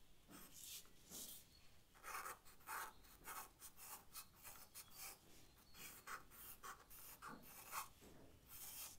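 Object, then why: Charcoal stick on paper sketchbook. A charcoal stick is stroked across the paper of a sketchbook in short, rasping strokes. Quiet, dry scratches come in an irregular rhythm, each a bright hiss with a gritty midrange scrape around 1 kHz that stops almost at once.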